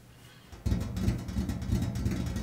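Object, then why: Enamel-painted steel washing machine lid. Fingertips and nails of both hands tap on the large, flat, enamel-painted steel lid of a top-loading washing machine, with the hollow appliance body beneath. After a faint, quiet start, a quick, continuous flurry of taps begins. Each tap gives a deep, hollow, booming thump with brief clicky highs, and the sound dies away quickly.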